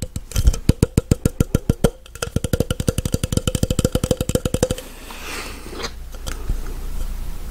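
A tall, empty, hollow clear plastic blender cup is tapped with fingertips and nails near the rim and on the side, producing a rapid run of 39 short, dry, hollow taps over the first five seconds. The tapping then gives way to soft, continuous scratching with the nails against the plastic.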